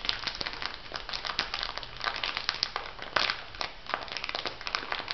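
An elongated clear plastic packet filled with white granules is pressed and rubbed with fingertips and nails. It gives a steady run of bright, crisp crinkling and crackling with quick, sharp snaps and a gritty shifting of the granules inside, with little low end.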